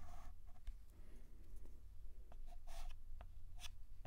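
A stick of white dustless chalk held in the fingertips draws letters on a flat black antique chalkboard in steady scratching strokes. Short, dry scratches come and go, some with bright hissy bursts, over a quiet low hum.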